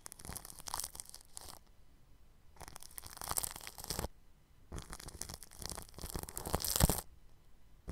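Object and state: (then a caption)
Plastic cling film over a microphone, brushed. A bristle paintbrush rubs over clear plastic cling film stretched across the grille of a round microphone. It makes bursts of crinkly, scratchy brushing with a bright, hissy top and a low, rumbling thud underneath, separated by short quiet gaps. The strokes swell loudest near the end before trailing off.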